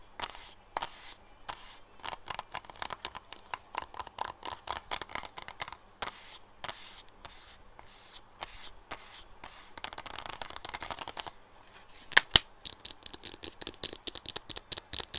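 Fingernails tap the top surface of a light green silicone phone case on a phone lying flat on a desk. The result is a long run of quick, dry, bright clicks that die away almost instantly, with a denser scratchy patch around the 10 s mark and two sharper, louder taps near 12 s.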